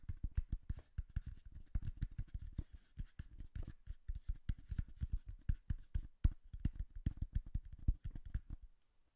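Fingertips tap rapidly on the sides of a hollow brown cardboard box held behind the mic. The result is a steady stream of soft, dull, low thumps with almost no ring and only faint brighter clicks on top, continuing for about nine seconds before trailing off.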